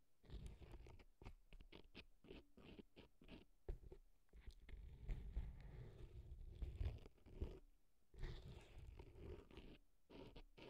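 A cotton swab scratches and rubs inside the canal of a right silicone elf ear prop packed with dry floral foam. It makes close, dry, crunchy scraping bursts in an irregular series, heavy in low-end rumble with faint bright crackle on top.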